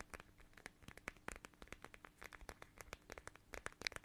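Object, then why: Small plastic pouch filled with gel beads. A small, flat, transparent watermelon-shaped plastic pouch filled with red gel beads is held in both hands and scratched and squeezed with long nails. Quiet, rapid, crisp clicks and crinkles sound, bright with a high edge, and each one cuts off almost at once. About two dozen separate taps and scratches run in an uneven, steady stream.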